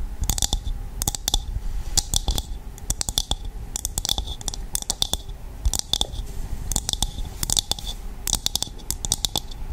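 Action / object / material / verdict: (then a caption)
scrape / dried coconut shell half / coconut shell / none. Long nails tap and scratch a hollow, empty dried coconut shell half, producing repeated bursts of bright, rasping scratches over quick, dry clicks with a steady ring near 3.5 kHz. Toward the end the shell is tilted close to the microphone.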